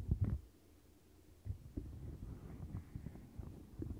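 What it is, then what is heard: Silicone bristle mat. Long nails scratch a turquoise silicone bristle mat and flick its edge bristles, making deep, muffled thumps and rumbly rustling that sit almost entirely in the low end. A brief burst of flicks opens the clip, followed by a quiet pause, then a steady run of soft, low scratching with small taps.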